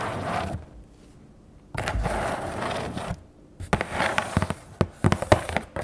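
Long nails scratch and tap the sides of a hollow, medium brown corrugated cardboard shipping box with tape on it, held near the camera. Two stretches of dry, broadband scratching are separated by quiet gaps. A run of sharp, uneven, hollow taps follows in the last two seconds.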